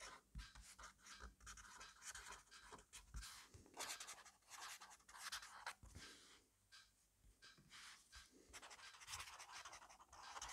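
Fast cursive writing with a black fineliner pen in an open grid-paper notebook on a desk, the pen tip scratching across the paper. Quiet, bright, papery scratches come in quick uneven bursts with short pauses between strokes, plus occasional soft low thumps.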